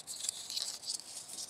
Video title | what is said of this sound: Unhelmeted Carter Halo Reach Series 5 Action Figure Review | you can hear that sound. It's like a hollow sound.